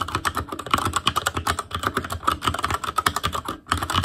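Fingertips of both hands type rapidly on a full-size ASUS ROG Claymore Core mechanical keyboard with plastic keycaps on Cherry MX Red switches, a metal plate, a hollow case and RGB backlight. The result is a fast, steady stream of short, clacky key taps with a clicky midrange tone near 1.3 kHz and a slightly hollow low thump. The taps die away almost instantly, with one brief pause near the end before typing resumes.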